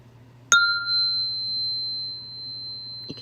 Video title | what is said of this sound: 2026 : From Chaos to Coherence - Earth School Radio | This is a little bitty one, but it resonates at a frequency.